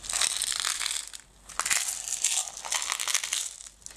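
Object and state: Plastic jar of decorative stones.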